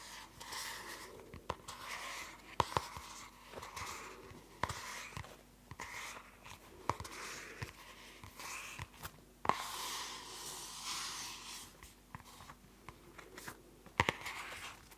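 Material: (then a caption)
Plastic. A closed purple spiral-bound notebook with a glossy plastic cover, held in both hands, is tapped and scratched with long nails. Sharp, dry clicking taps cut through a steady, bright scratching and rubbing texture, with each tap stopping almost instantly. A faint, steady low hum runs underneath.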